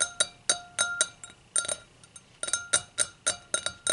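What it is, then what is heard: Glass hurricane glass. Long acrylic nails tap around the rim of the round foot of an empty, clear hurricane glass held upside down. About sixteen bright, glassy clinks come in an uneven rhythm, each with a short high ring and almost no low end.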